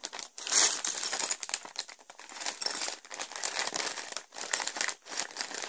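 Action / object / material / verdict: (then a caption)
scrape / thin plastic bag holding plastic toy bricks / plastic / none. A clear, thin plastic bag full of purple and grey Lego pieces from the Joker Notorious Lowrider set 70906 is held, squeezed and pressed flat on a table by hands and fingertips. It gives continuous bright, crisp crinkling with many small crackles, and almost no low end.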